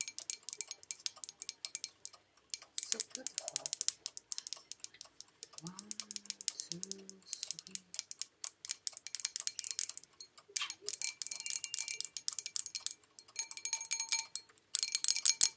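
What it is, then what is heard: Porcelain bowl tapped with nails. Long nails tap rapidly on the outer surface of a hollow, empty white porcelain bowl held in both hands. The result is dense bursts of bright, dry clicking with almost no ring. A brief low, voice-like murmur rises in the middle.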